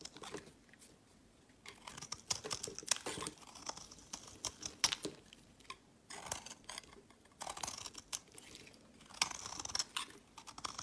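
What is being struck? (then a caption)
Bar of olive soap. A knife blade scrapes crumbly shavings off a solid, hand-sized tan olive soap bar held in the hand. Dry, crisp scraping strokes come in bright, rasping bursts with short pauses between them, with almost no low end.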